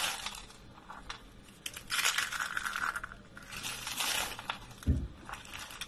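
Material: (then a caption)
Soap. Both hands crush dry, rolled lilac soap curls, hollow spirals of thin brittle soap, into flakes with the fingers. Dense, bright crunching and crackling comes in bursts, and a dull low thump sounds near the end.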